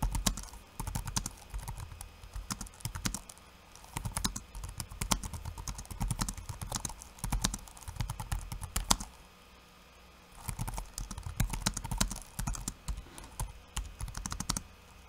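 Fingertips of one hand type quickly on a backlit laptop keyboard with plastic keycaps, producing dense bursts of short, dry clicks and low thumps with bright tapping edges. The typing pauses briefly near 3 seconds and for about a second and a half around 9 to 10 seconds before resuming.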